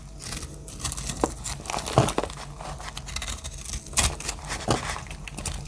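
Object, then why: Bar of soap. A solid blue-green speckled dry soap bar is held in the hand and scraped and cut with a metal blade, breaking off crumbly flakes. Continuous dry, crinkly scraping and crackling is punctuated by sharper, bright crunching cuts over a low background hum.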